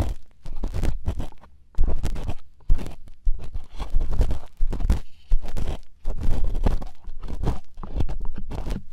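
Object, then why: Silicone ear replica on a binaural microphone. Two plastic earpicks held in fingertips scrape and scratch inside the hollow ear canals of two soft white silicone ear replicas on a binaural microphone at the same time. The result is a series of deep, muffled, rumbling crunches and scrapes in uneven bursts, broken by short near-silent pauses.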